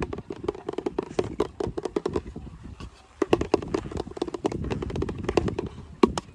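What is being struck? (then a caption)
Plastic shampoo bottle. A medium-size, hollow pink plastic shampoo bottle held in the hand is tapped and rubbed with fingertips and nails. The result is a fast, irregular stream of short, dry plastic clicks with a hollow body around the low mids, and quick bright transients. Softer rubbing fills the gaps between the taps.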